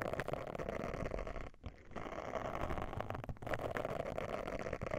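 Long nails scratch the bristles of a round silicone face scrubber pad held over the mic. The result is a dense, rough, continuous scratching with a low rumble and a brighter midrange rasp. It briefly dips quieter near the middle of the clip before the scratching resumes.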